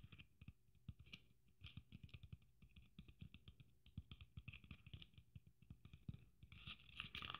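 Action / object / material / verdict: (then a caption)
tap / sequin-covered Christmas ornament with braid trim / sequins / none. Long nails tap and scratch a red sequin Christmas ornament with a gold braid. A rapid series of soft, dull taps carries bright, crisp sequin clicks and rustles. The sound ends in a louder burst of scratchy, glittery scraping.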